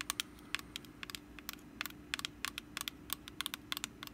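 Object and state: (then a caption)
Woven wicker pumpkin basket. Long black acrylic nails scratch and tap across the woven top of a small, hollow, orange rattan/wicker pumpkin basket held in hand. The result is a quick, irregular run of about twenty sharp, dry, bright clicks and scratchy ticks that stop instantly with no ring, over a faint steady low hum.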